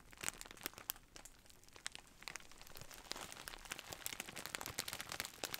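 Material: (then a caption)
Plastic. A large, clear plastic bag of bubble wrap, hollow and soft, is held upright in both hands while the fingers squeeze and rub it, crinkling the plastic. Dense, bright crinkling is heard, with many sharp, dry crackles and almost no low end. The crackles ease off briefly near the middle, then return busier toward the end.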